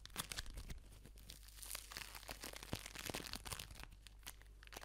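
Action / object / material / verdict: scrape / foam bead ball / foam beads / none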